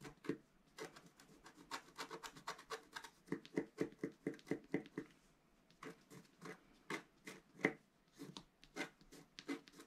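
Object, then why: Black-coated scratch paper and wooden stylus. A pointed wooden stylus scratches across a flat, black-coated scratch art paper sheet, about A4 in size, lying on a table and held flat by one hand. The continuous scratching comes as a quick, uneven series of short, dry, raspy strokes with a bright papery hiss and a faint midrange tone, with brief pauses between bursts.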